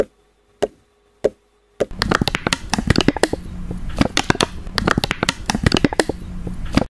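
A fingertip taps the cheek and eye area of a plastic (vinyl) baby doll's face, apparently a hollow head, with four separate sharp taps. Then both hands tap and rub the sides of the face in a dense, irregular flurry. Each tap is a dry, hollow click with almost no ring, and the rubbing adds a soft, continuous scuffing underneath.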